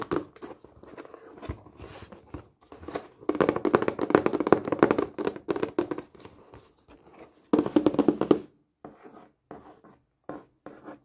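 A hollow, flat rectangular printed cardboard craft kit box is held upright and tapped with long painted fingernails and fingertips. Rapid, irregular bursts of dry, hollow taps and thunks ring with a mid pitch and die out almost instantly. Dense flurries alternate with quieter stretches, ending in a few sparse, separated taps.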